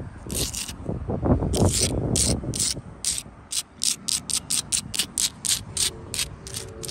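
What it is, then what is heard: Solid sandstone wall. Long blue-tipped nails scratch across the faces of a solid, mortared wall of rough sandstone blocks and along its mortar joints. The first few seconds are dense, gritty scraping with a rough low rumble. It then settles into a run of short, bright, hissy scratch strokes at about three per second, each separated by brief quiet gaps.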